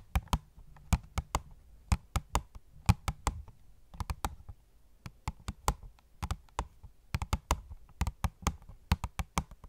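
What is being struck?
Cardboard box with plastic window.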